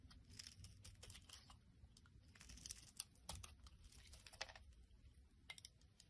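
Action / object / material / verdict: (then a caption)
scrape / glycerin soap bar shaved with a knife blade / glycerin soap / none. A utility knife blade scrapes and shaves curls off a solid, translucent pink glycerin soap bar held in the hand. The quiet, dry scraping comes as a rapid run of short, crisp, bright crackles and clicks over a soft low rumble, with a few sharper strokes standing out.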